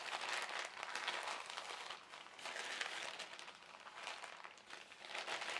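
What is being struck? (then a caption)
Thin polyethylene carrier bag. An empty white printed polyethylene shopping bag, folded into a small rectangle, is crinkled by fingertips and then pressed flat on a table. It makes a soft, continuous, bright crackling rustle that swells and fades in waves, with no low end.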